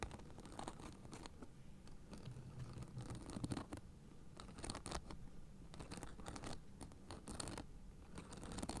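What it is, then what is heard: Acupressure mat with plastic spikes. Fingertips and nails scratch across a blue fabric acupressure mat covered in white plastic spiked discs, held upright beside the face. The result is a quiet, steady raspy scratching with repeated bright, crackly bursts over a low, muffled rumble.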